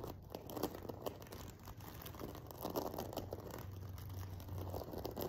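Fingernails scratch and flick the rows of a silver sequin-covered fabric pillow at its far edge. A steady stream of soft, crinkly clicks and rustles plays over a faint low hum, staying quiet throughout.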